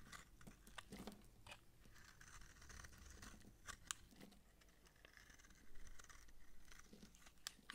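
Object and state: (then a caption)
Dry soap bar. A utility knife blade scrapes the flat face of a solid, dry purple massage soap bar held in hand, shaving it into flakes and chips. Quiet, dry crunching and crisp scraping run throughout, with sharp bright clicks and crackles as chips break away over a low rumble.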